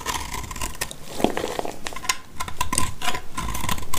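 A black utility knife blade shaves and scrapes crumbly curls from a solid, dry blue soap chunk held in the hand. The result is a run of quick, uneven, crackly scraping strokes with dry, bright texture. A faint steady tone near 1 kHz and a low rumble sit underneath.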